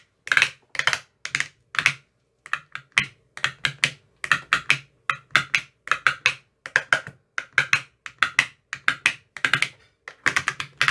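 A hand-held metal rod with a white tip taps the teal silicone cells of an empty, clear plastic ice cube tray. It produces quick bursts of dry, bright, clicky taps centered around 2 kHz, with almost no low end. The taps come in rapid clusters separated by short pauses, and each tap dies away almost instantly.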